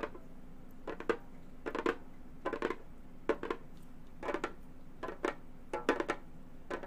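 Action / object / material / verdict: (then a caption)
tap / frame drum with synthetic head, tapped with metal claw tips / synthetic membrane / none. A round Remo frame drum with a hollow synthetic head is tapped with the claw tips of long gold metal finger claws. Quick clusters of two or three light, clicky taps give a hollow midrange tone near 450 Hz that dies away almost at once. The taps come in an irregular rhythm over a faint steady background hum.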